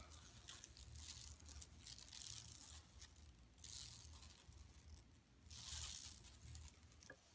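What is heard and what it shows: Long nails scratch across a flat, empty yellow woven plastic mesh tote bag lying on carpet. Bright, dry rasping comes in swelling bursts, strongest near the middle and end, over a low steady rumble.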